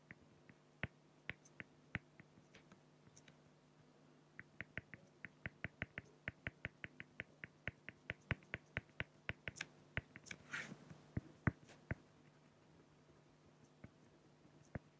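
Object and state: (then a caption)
Felt-tip pen strokes on acrylic sheet. A felt-tip pen fills in dark areas on a flat clear acrylic sheet with short, rapid strokes. The result is a quiet series of dozens of sharp, dry ticks with a slightly bright edge, with a brief longer scratch near the ten-second mark. A steady low hum runs underneath.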